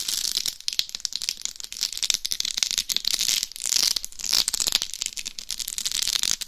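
Long acrylic nails scratch the top of a life-size binaural dummy head microphone whose hard shell is fully covered in small rhinestones. The result is a dense, rapid stream of bright, crisp clicking and scratching with almost no low end, its level rising and falling in quick bursts throughout.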